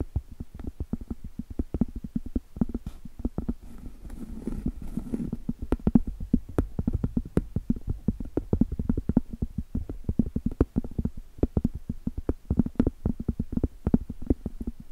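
Long stiletto acrylic nails rapidly tap and scratch the surface of a round, flat, solid cork trivet held horizontally. The sound is a steady stream of dull, low-pitched clicks with no ring, broken around the middle by a soft, brushy scratching passage.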